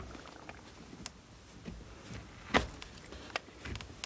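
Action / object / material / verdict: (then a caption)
scrape / soap bar scraped with a steel knife / soap / none. A steel knife blade carves and scrapes a solid blue bar of soap held in the hand. Soft, crisp scrapes and short dry clicks sound against a quiet background, with one louder cut near the middle of the clip.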